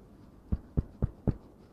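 Percussion over a human chest wall above the heart, compared with the lung, gives four short, dull thuds. They are low-pitched and shortened, dying out almost at once. The dullness is normal and comes from sound travelling poorly through the solid, fluid-filled organ beneath.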